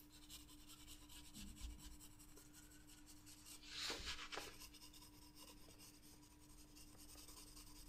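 A green graphite pencil rubs dense shading strokes across a paper sketchbook page partly covered by a loose protective sheet. The strokes make a continuous, bright scratchy rasp over a faint steady low hum, swelling into a louder burst of scraping partway through before settling back to even shading.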